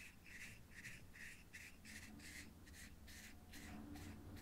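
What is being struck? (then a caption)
Small clear acrylic box with contents. A fingertip taps and rubs the top of a small, hollow, clear plastic or acrylic cube held in the hand and partly filled with purple material. The result is a quick run of soft, scratchy bursts with a bright, hissy edge, heard over a quiet, low background rumble.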